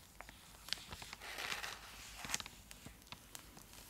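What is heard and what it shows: Long acrylic nails scratch and tap a full, large purple Cadbury Dairy Milk chocolate block in its foil-lined plastic wrapper, held beside the face. Eleven short, sharp, bright taps and clicks are heard, with a louder, hissing crinkly scratch in the middle, all dry and high with no ringing.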